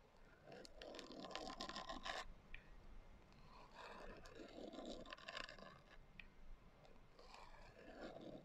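Long nails scratch across the coarse glitter cover of a small, closed hardcover journal lying on a table. The result is dry, gritty scraping in three long bursts, with a bright rasp over a soft, hollow body tone from the book.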